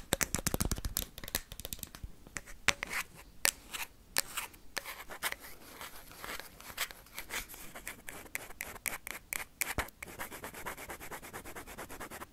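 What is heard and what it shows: A hollow plastic ping pong ball is tapped and scratched with paperclips, giving rapid, sharp, bright clicks mixed with fine scratching. The taps come fast and dense at first, then settle into a steady, lighter scratching rhythm.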